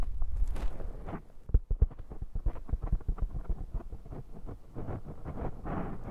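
Fingers squeeze and scratch a black foam windscreen on a handheld microphone. The result is a close, muffled run of rapid, irregular thumps and crinkling rustles, heavy in low boomy rumble with only faint brighter scratchy edges. It continues unevenly throughout without settling.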